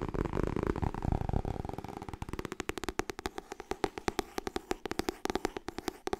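Fingertips and nails tap fast on the cover of a white and blue paperback copy of "Getting Things Done," held solidly in both hands. A dense, blurred flurry of soft papery taps fills the first two seconds, then settles into crisp, separate dull knocks with almost no ring.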